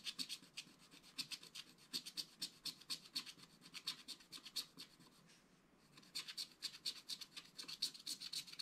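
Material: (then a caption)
Coated paper. A wooden stylus scratches fur lines into a rabbit figure on a flat, black-coated scratch art paper card. Dozens of short, quick, bright scratching strokes come in an uneven rhythm at a quiet level. They pause briefly just before the sixth second, then resume.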